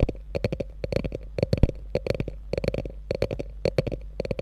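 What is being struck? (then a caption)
Quilted faux leather handbag scratched with long nails. Long nails scratch along the top of a small, hollow beige quilted faux-leather handbag with a gold metal logo. The result is a rapid, uneven series of short, dry scratching strokes with a heavy low-end thump and almost no ring after each stroke.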